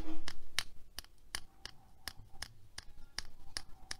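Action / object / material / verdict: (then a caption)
tap / plastic hair claw clip with metal teeth / plastic, metal / none. Long nails tap and scratch the gold metal teeth and coral plastic of a small hair claw clip held in the hand. The result is a quick, irregular series of sharp, dry clicks with faint scraping between them.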